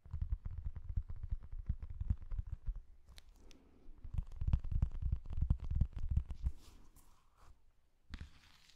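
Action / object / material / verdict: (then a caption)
tap / large book with glossy paper cover / glossy paper / none. Fingertips and short nails tap and scratch across the glossy printed cover of a large, solid, flat Star Wars Episode I book held upright in one hand. Dense, irregular, soft low thumps and dull knocks mix with brief bright scratching strokes, pausing near the end before a final scrape.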